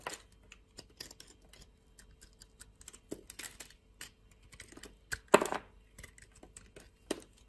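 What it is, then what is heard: Bar soap being shaved with a blade. A metal utility knife blade shaves a solid orange bar of soap held in the hand, peeling off thin curls. It makes a quiet series of short, crisp, dry scraping clicks with bright edges, over a faint steady low tone. One longer, louder rasping cut stands out near the middle.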